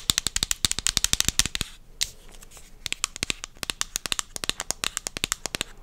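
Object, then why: Plastic supplement bottle. A medium purple plastic vitamin bottle with a white cap is held up and tapped and scratched with long dark-painted nails. Rapid, bright plastic clicks come in quick bursts, with a brief stretch of softer scratching in the middle. Each tap is sharp and dies away almost instantly, with a high, thin tone around 3.6 kHz.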